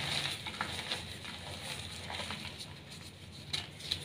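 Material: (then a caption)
Chalk. A small solid block of brown glittery reformed gym chalk (magnesium carbonate) is crushed in bare hands with painted nails, then squeezed and rubbed between the fingers over a pile of chalk dust. Dry, bright crunching and gritty rubbing run throughout, with a few sharper crackles standing out. The block crumbles into dry powder and chunks.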